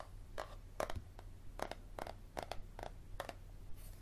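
Fingernails tap and scratch the cover of a yellow paperback book, first held tilted and then lying flat on a table. Short, dry clicks and brief scratchy bursts come in quick, uneven bunches, fading almost instantly, over a quiet, steady low hum.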